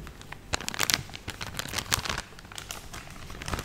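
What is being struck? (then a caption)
Soft plastic film bag filled with cotton pads. A full, medium-sized soft plastic film pouch of cotton makeup-remover pads is held in both hands and crinkled and squeezed with fingertips and nails. The result is an irregular run of sharp, bright crackles and crinkles that stop dead with no ring, spread across the clip over a faint low rustle.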